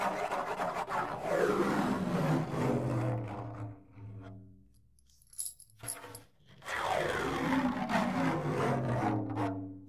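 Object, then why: Wooden tambourine frame with metal jingles. Fingernails scratch the orange wooden frame of a handheld tambourine with metal jingles, held close to the mic. A dense, rasping scrape with sweeping resonant tones fades out, leaving near-silence broken by a few faint ticks, before a second stretch of scratching returns just as strongly.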